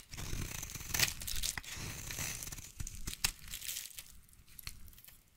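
A utility knife blade scrapes and shaves a solid, hand-sized light blue bar of soap into curls. The strokes come as uneven, crisp, papery tearing and crinkling rasps with bright high hiss and a soft low rumble. A few sharp snaps stand out before the scraping thins and fades.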